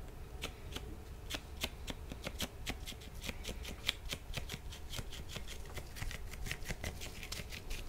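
Thin, dry blue nitrile disposable gloves on both hands rub, slide and lightly slap against each other beside the microphone. A rapid run of sharp, bright, crackly snaps rises over a steady low rumble, sounding like a fast card shuffle. Each snap cuts off almost instantly.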